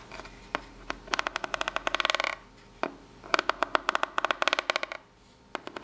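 A single long fingernail scratches along the ridges of a small corrugated cardboard box laid down, producing two bursts of rapid, dry, bright ticking as it catches each ridge. Short pauses separate the runs, and a brief camera movement is heard near the end.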